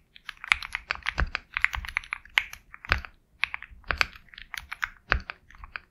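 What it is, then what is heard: Mechanical keyboard typing. Steady fingertip typing on a Sugar65 compact 65% mechanical keyboard with a black case, KTT Kang White switches and white and black plastic keycaps. Quick bursts of crisp, bright clacks come with occasional deeper, heavier strikes and brief pauses between runs. Each keystroke is sharp and dies out almost instantly.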